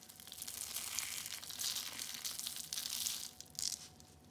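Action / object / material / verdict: scrape / shredded soap ball / soap / none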